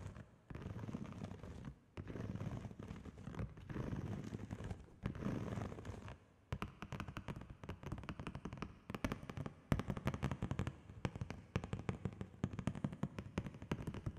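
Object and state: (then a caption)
Plastic bubble mailer. A large, flat holographic plastic padded bubble mailer is held up and tapped and scratched with long fingernails. The first six seconds are dense, low crinkly scratching in bursts. After that come rapid, sharp fingernail taps that click brightly across the plastic.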